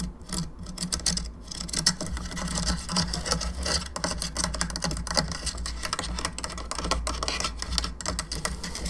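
Long nails tap rapidly on a hollow plastic skull candelabra lamp, moving across its bone arms, jaw and the sides of the skull. The result is a dense stream of short, bright, clicky taps with almost no ring, over a steady low hum.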